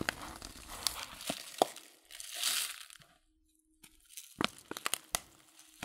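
Fingers handle the crinkled, folded top of a paper loose-leaf tea packet, making bright crinkling and sharp paper crackles. A softer rustling swell passes before a near-silent pause, and then a burst of quick, snappy crinkles follows.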